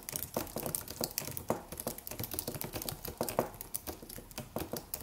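Fingertips of both hands tap the keys of a slim silver aluminum computer keyboard with white plastic keys and a solid low-profile body in a typing motion. The result is a steady, uneven run of quiet, short clicks with a mid-pitched tap and a bright edge, each dying away almost at once.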